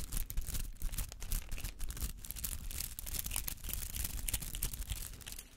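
Fingernails scratch through the bristly petals of a palm-sized rubber artificial flower. The result is a dense, rapid run of dry, crackly brushing and rasping strokes, with bright, high bristle noise over a soft, low rumble. The strokes pulse unevenly and taper off at the end.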